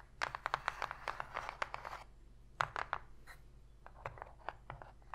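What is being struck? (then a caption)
Empty cardboard box. Long pink nails tap and scratch the inner bottom of an open, empty, shallow white cardboard box. Quick, dry clicks come in a dense cluster for the first two seconds, followed by sparser taps and light scratches at a low level. Each tap dies away almost instantly, leaving a faint low hum between them.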